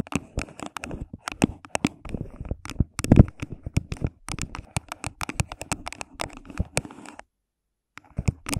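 Long pink nails tap and scratch the sides of an empty, hollow, thin clear plastic cup placed over a microphone. The result is a rapid, irregular stream of short, dry clicks and scraping sounds with a hollow, low-heavy tone. The sounds stop briefly near the end, then start again.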